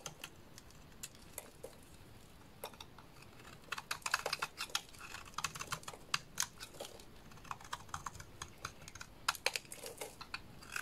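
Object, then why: Bar of soap. A small dark blade shaves and scrapes curls off the surface of a solid rectangular purple bar of soap held in hands, with the shavings piling below. The clip is a quiet run of short, dry, bright scraping clicks and crisp crackles, with denser, louder bursts in the middle and near the end.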